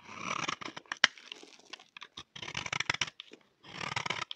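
A solid, dry, cream-colored rectangular bar of soap held in the hand is scraped with a utility knife blade, shaving off fine curls. The result is a series of dry, crisp scraping and crunching strokes, bright and papery, with short gaps between bursts of shaving.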